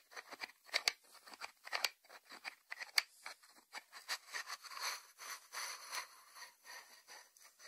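Fingertips tap the closed lid and sides of a small, round, hollow white ceramic salt dish resting on a wooden board. The result is a quiet series of short, bright clicks and scratchy taps with no low end, each dying away almost instantly, with a few sharper, louder ticks standing out among softer brushing taps.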